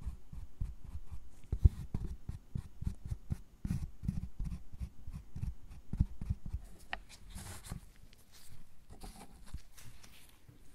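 A thin metal needle tool traces and scratches lines into the surface of a solid milk chocolate bar resting on a wooden board. The result is a quiet, dense run of short, dull scraping strokes and soft taps, heavy in low thuds, with faint bright scratchy hiss rising in the later strokes.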